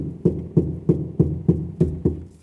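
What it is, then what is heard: Car door panel damped by deadening mat. Seven dull, low knocks on a car door's sheet metal after a sound-deadening mat was applied. Each knock is a short, muffled thud that dies away almost at once with no bright ring. The door sounds completely different from before the mat was added.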